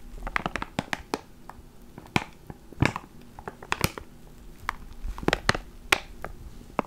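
A small clear plastic ziploc bag holding a black foam microphone windscreen is held between the fingers and crinkled and squeezed with the fingertips. Sharp, bright plastic crackles and snaps come in irregular bursts over a quiet background, each dying away almost instantly.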